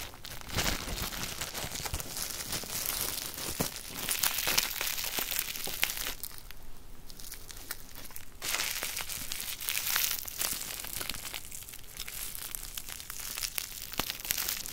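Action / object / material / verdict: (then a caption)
scrape / plastic bubble wrap sheet / plastic / none. A small flat sheet of clear plastic bubble wrap is held up in both hands, then rolled into a tube and squeezed and twisted with the fingers. The result is dense, bright crinkling scattered with sharp little pops as bubbles burst, easing to a quieter rustle for a couple of seconds midway before picking up again.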